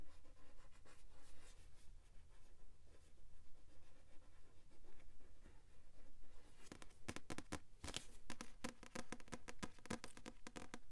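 Long pink nails scratch and tap the front of a paperback novel with a glossy card cover and a solid paper block, held upright. Soft, dense scratching fills the first half, then gives way to a run of sharp, bright taps with very short decay over a low background rumble.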